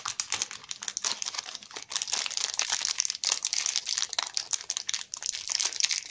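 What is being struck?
Chocolate bar in a plastic wrapper.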